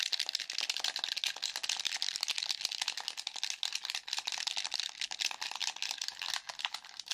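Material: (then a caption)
Plastic. A hollow black plastic game controller, held in both hands, is tapped, clicked and scratched rapidly with fingertips and nails across its buttons and casing. The result is a dense, nonstop stream of crisp, bright clicks and scratchy rattles with almost no low end and no ringing.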